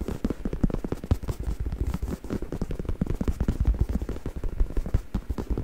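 Fingertips scratch and rub the surface of a black, soft, padded stuffed faux leather neck pillow held in front of the mic. The result is a dense run of quick, dry, crackly taps and scrapes, heavy and muffled in the low end with almost no bright content.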